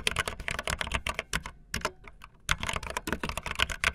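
Fingertips with long nails type fast on a backlit optical linear plastic mechanical keyboard with white and blue plastic keycaps. Rapid, bright, clacky keystrokes with very short decay run in quick bursts, easing into a few softer, sparser taps in the middle before the fast typing resumes.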